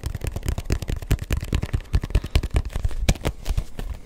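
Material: Rubber.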